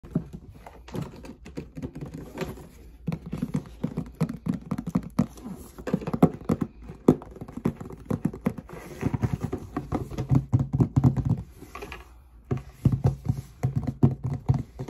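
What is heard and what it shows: A large, closed, hollow cardboard Jordan shoebox held in the hands is tapped and scratched on its lid with long red-painted nails and fingertips. Rapid, dull, hollow taps and soft scratchy patter run throughout, with uneven bursts of quicker tapping. The sound stays low and muffled with almost no ring, each tap dying away at once.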